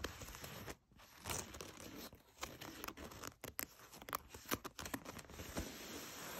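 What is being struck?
Denim jeans.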